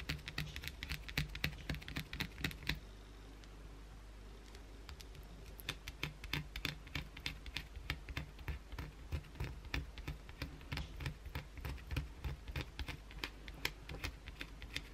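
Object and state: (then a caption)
Bar of soap scratched with fingernails. Long, pointed blue acrylic nails aggressively scratch the rounded side of a solid white Dove soap bar held in the hand. The result is a rapid, uneven run of sharp, dry clicks and scrapes with bright, crisp edges over a low, steady hum. A brief quieter stretch falls around three to five seconds before the scratching picks up again.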